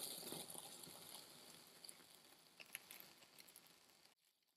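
A hand-held steel Farberware kitchen knife slices down through a palm-sized solid dome of soft, dense blue and tan kinetic sand on a white surface. It makes a bright, grainy crackle that slowly fades, with a few sharper ticks as the blade presses through, then cuts off abruptly near the end.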